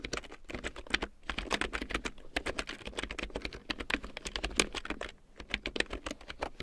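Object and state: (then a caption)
Plastic keyboard being typed on. A full-size large print keyboard with a black plastic frame and big yellow plastic keycaps, lying on faux fur, is typed on with long painted nails and fingertips. A rapid stream of short, bright plastic clicks and taps runs throughout, with brief pauses near 1.2 and 5.2 seconds.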